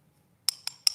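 A cups-and-balls magic trick cup is tapped three times, giving short, bright, high-pitched clinks that die away almost at once. The cup sounds solid even though it has a hole that lets the cups pass through one another, so the sound hides its real construction.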